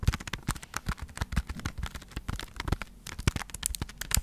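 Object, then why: Foam sponge block scratched by fingernails. A hand-sized, porous yellow foam sponge block, solid and soft, is held in one hand while long acrylic nails on the other hand scratch and tap it close to the microphone. The result is a dense run of short, dry crackling taps with soft low thumps and bright, scratchy edges, with no ringing after each hit.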